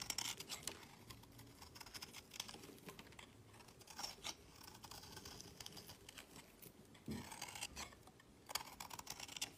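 A utility knife blade shaves a solid purple bar of soap held in the fingers, with curls and flakes piling up on a woven mat. Quiet, bright, crisp scraping comes in quick bursts of short strokes, with louder rasping passes at the start and end.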